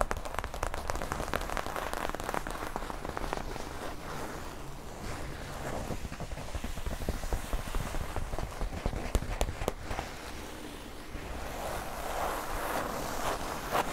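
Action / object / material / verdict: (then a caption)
scrape / non-woven polypropylene tote bag / polypropylene fabric / none. Long almond-shaped nails and fingertips scratch and tap across the printed "Normal" logo on a large, flat, mint-green non-woven polypropylene tote bag lying on a surface. The result is a steady, dense, crackling patter of quick dry scratches and taps, like rain on fabric, holding at a soft, even level throughout.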